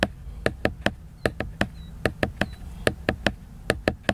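Fingertips and nails tap and scratch the cover of a large, solid, flat laminated cardboard hardcover book. Sixteen sharp, dry taps fall in an uneven rhythm, each dying away almost at once, with a soft low scratching rustle filling the gaps between them.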